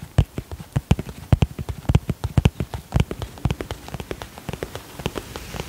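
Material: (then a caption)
Vinyl plastic. Fingertips and nails tap rapidly on the surface of a holographic vinyl cosmetic pouch, producing about 35 quick, soft, dull thuds with faint bright clicks that stop dead without ringing. The taps come in an uneven, rain-like patter that grows slightly quieter toward the end.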